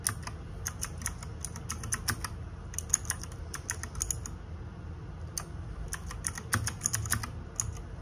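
Fingertips and nails type on a small RGB-backlit 60% mechanical keyboard with plastic keycaps. Quick runs of sharp, bright, dry clicks come in bursts, with a short pause in the middle, over a steady low rumble.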